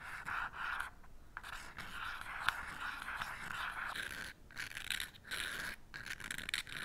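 An unlit wooden match head is repeatedly scratched by hand across the purple abrasive striker strip of a small cardboard matchbox held striker side up in the other hand. It makes steady, gritty rasping scrapes with a pronounced midrange hiss and bright edges, broken by a few short pauses between strokes. No flame catches.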